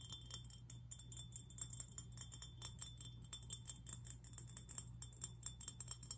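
A glass fish figurine is tapped and scratched, giving rapid, bright, chime-like clinks with very short ring and light scraping between taps. A steady low hum runs underneath the whole time.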